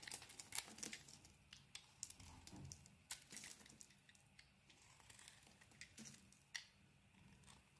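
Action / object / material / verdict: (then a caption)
scrape / bar of soap scraped with a knife blade / soap / none. A utility knife blade scrapes white curls off a hand-sized, solid pink and white bar of soap held in the palm. The result is a quiet run of crisp, bright scraping and crinkling sounds, with short sharp peaks and very little low end.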